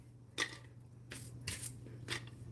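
Thick homemade crackers, rolled thicker on purpose for soup, are handled and tapped, giving a few short, bright, crisp clicks and crackles over a steady low hum. The sharp, dry sound shows the crackers are still crisp.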